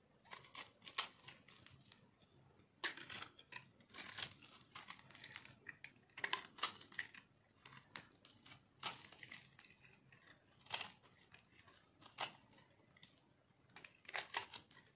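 A metal knife shaves flakes off a rounded, solid, white dry soap bar held in one hand. Quiet, crunchy scraping comes in bursts of bright, crackly rasps separated by brief pauses, each stroke ending with almost no ring.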